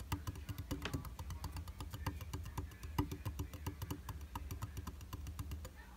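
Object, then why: Glass vanity mirror in a frame. Fingertips and short nails tap rapidly on the flat, solid glass surface of a round vanity mirror in a white frame. The taps are quick, light and clicky, with a bright tick on each one over a soft low thud. They die away almost instantly in a steady, even patter.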